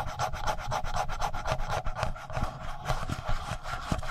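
Fingertips rub the upper body of a handheld black plastic Tascam audio recorder near its mic capsules. Heard up close, it makes a steady run of quick, dry scratching strokes over dull, boomy low thumps that dominate the sound.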